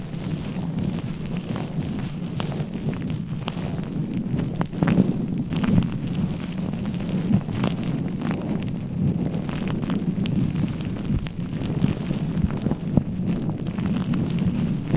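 Fingertips of both hands scratch, rub and squeeze a soft, porous black foam windscreen on a microphone. The result is a steady, muffled low rumble centered around 160 Hz, with a dense crackling texture and little high end. Brief louder scrapes stand out throughout.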